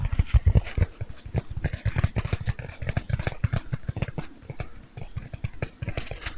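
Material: Foam.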